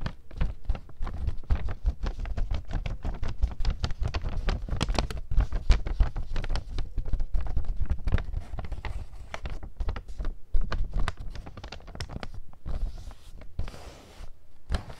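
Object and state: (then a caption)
Empty kraft paper bag. A small, plain, empty brown kraft paper bag is held close to the microphone while long lilac nails tap and scratch it. Dense, rapid, dry taps and crinkly scratches follow one another throughout with a heavy low-end thump, thinning into sparser taps and a brief soft scraping rustle near the end.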